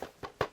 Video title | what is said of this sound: 5 DE MES PLUS BEAUX STEELBOOK ! #2 | on est sûr sur un produit de qualité là en plus quand on tape ça fait du bruit